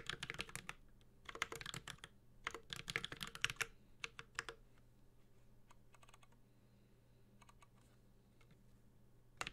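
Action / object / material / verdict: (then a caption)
tap / mechanical keyboard with aluminium case and plastic keycaps / aluminium, plastic / none. Fingertips of both hands type on a Space65 Cybervoyager, a 65% mechanical keyboard with an aluminum case, ABS keycaps and Holy Panda switches. Rapid bursts of bright, sharp clacks come in clusters, then thin out to sparse, softer taps before one last loud keystroke. A faint steady low hum sits underneath throughout.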